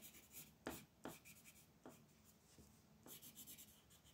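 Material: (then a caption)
Paper. A magenta wooden colored pencil is rubbed in shading strokes across a flat white paper mandala coloring page lying on a table. Four sharper scratchy strokes stand out over a soft, continuous bright hiss of graphite-like rubbing on paper, all at a quiet level.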